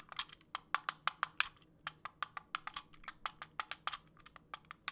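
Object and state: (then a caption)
Plastic fidget cube. A small multicolored plastic fidget cube with buttons, a yellow wheel and a switch is held in the hands while fingertips click the buttons and flick its parts. Around 25 sharp, bright, dry clicks come in an uneven, rapid patter like typing on a keyboard, each dying away instantly with almost no low end.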